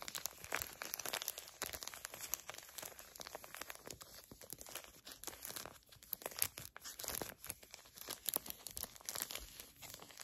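A small, flat, filled Garnier Fructis hair mask sachet made of foil and plastic laminate is crinkled and scratched with long nails and fingertips. The result is a steady stream of dense, bright crinkles and crisp scratching, mostly high in pitch with almost no low end and very short, dry snaps.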